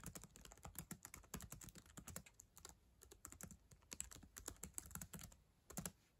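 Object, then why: Plastic laptop keyboard keys. Long acrylic nails type on and tap the plastic keys of a black ThinkPad laptop keyboard, near the touchpad. A rapid, irregular stream of short, bright clicks and clacks, each with a soft low thump, dies away almost instantly. The tapping runs continuously, with a few brief pauses and louder clusters.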